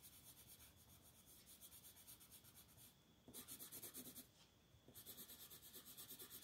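A purple colored pencil strokes and scratches along the edge of a design on the right side of a flat paper coloring book page. Quick, repeated scratchy strokes produce a bright, papery hiss, soft at first, then louder bursts of faster scribbling with a short quiet gap between them.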